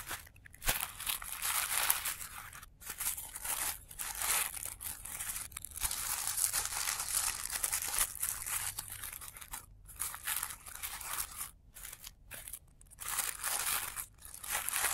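Fingertips pinch, fold and crinkle the thin petals of a palm-sized blue tissue paper flower resting on black cloth, with the sound played in reverse. Bright, dense crinkling and crunching rustles come in bursts, broken by brief near-silent gaps.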